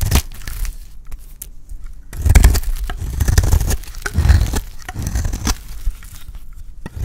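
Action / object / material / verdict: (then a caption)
scrape / bar of soap shaved with a metal blade / soap / none. A solid, dry, cream-white bar of soap held in the hand is shaved with a metal utility blade. Dense scraping and cutting strokes give a crackly, crumbly texture with a heavy low-end rumble, swelling louder in bursts before settling back down.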